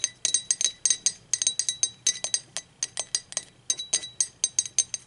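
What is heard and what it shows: Long acrylic nails tap the body and handle of an empty, hollow, blue speckled glazed ceramic mug rolled on its side. About 28 quick, bright clinks sound in an irregular rhythm, each with a short, high, glassy ring that fades almost at once.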